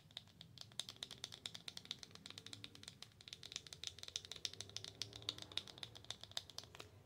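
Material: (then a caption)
Cardboard. A slim, long black-and-white printed Belle en Argent cardboard box, likely holding a cosmetic, is held in both hands and tapped and scratched with long acrylic nails. Rapid, dry, bright clicking taps around 3.7 kHz come in a fast, irregular stream over soft scratching, with no ring after each tap. The result is a quiet, crisp, typing-like tapping texture.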